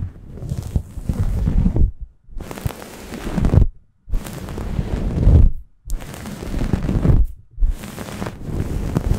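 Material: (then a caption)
Microfiber. A grey microfiber towel draped over a Blue Yeti microphone is scratched with long nails and rubbed by fingers, at both fast and slow paces. Heavy, low, rumbling scratch noise comes in five long passes, each broken off by a short silence.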